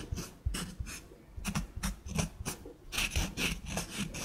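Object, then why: Natural wood slice coaster with bark edge. Long nails scratch and trace across a small, flat, solid wood slice coaster with a bark edge and a burned snowflake design. Dry, raspy scraping strokes come in quick repeated bursts, each a bright hiss over a soft low thump that fades almost immediately.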